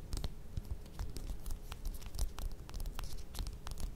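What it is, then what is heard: Mandarin orange, nails scratching and tapping the peel. Long nails scratch and tap the peel of a small whole mandarin orange held in the hands. Quiet, rapid, dry scratching and tapping continues throughout, with soft low thuds and brief bright clicks that die away almost instantly.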